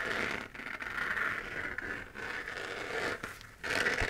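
Long fingernails scratch across the textured crater surface of a hand-sized, hollow, 3D-printed plastic moon lamp, lit and held in the dark. The result is a steady, raspy scraping concentrated around 1.9 kHz with a bright, hissy edge, and its level briefly dips between strokes.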